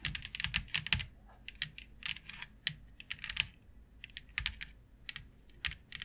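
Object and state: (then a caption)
Plastic grid board tapped with long nails. Long fingernails tap quickly on a flat white plastic plaid grid board with a fine grid pattern. The result is a run of sharp, bright clicks in uneven bursts with brief pauses, each tap dying away almost instantly.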